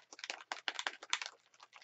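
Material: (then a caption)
Glass. A glass bead rattles inside a closed faux acrylic spray bottle of paint mixture as the bottle is shaken to mix the product. A quick series of bright, sharp clicks and rattles rises and falls with each shake, with no low-end thump.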